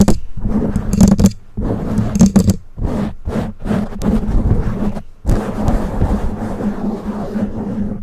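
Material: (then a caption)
Foam. Long nails of both hands scratch the black foam windscreen on a condenser microphone, giving a heavy, low rumbling scrape with a hum near 180 Hz. Bursts of scratching come in quick runs with short gaps, some carrying bright crackles on top, then settle into a steady, dense rustle for the last few seconds.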